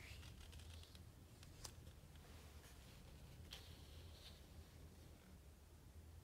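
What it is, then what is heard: Glossy coated book page. Fingertips and a palm rub and tap the glossy coated paper page of a large hardcover book, open on a spread showing a leather jacket close-up and resting on a thick stack of pages. Quiet, dry brushing is broken by a few short, bright taps that die away almost instantly, over a steady low hum.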